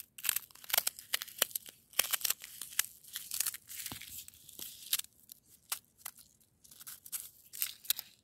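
Long almond-shaped nails scratch and rake across a crust of granular frozen snow and ice. The result is a string of bright, crisp crunching and crackling bursts with almost no low end, each scrape dying away instantly between brief pauses.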